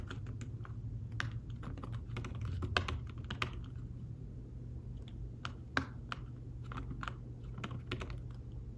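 Fingertips type steadily on a thin folio tablet keyboard with fabric-covered keys, making soft, short, dry taps at an irregular pace. A steady low hum runs underneath the whole time, and a few keystrokes stand out slightly louder than the rest.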